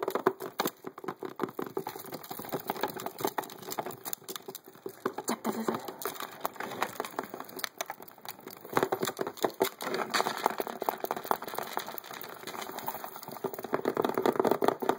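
Fingertips and nails tap and scratch fast on the lid edge and corner of a transparent hard plastic case full of poker chips. The result is a dense stream of short, dry clicks and scratchy rasps with almost no ring, centered in the mid range around 380 Hz with little low end.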